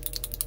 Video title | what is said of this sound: Testing Dspiae Color Shift Metallic Paints - Beautiful Deep Colors | you can hear the ball bearing